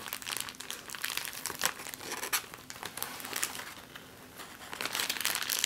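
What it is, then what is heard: Clear plastic bag. An empty clear plastic bag is crinkled in the hands, then flattened and crumpled against a table with fingernails. Dense, bright crackling rustles come in irregular bursts with sharp crisp peaks, thinning to a quieter stretch before growing busier again at the end.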